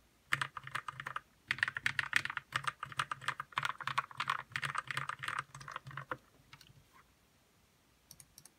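Fingertips type on a white RK61 60% mechanical keyboard with plastic keycaps, lubed red switches and a hollow plastic case. A steady run of quick, short clacks, each with a bright click over a soft low thump, lasts about six seconds. A few scattered taps follow, then silence, then a final quick trio of clicks.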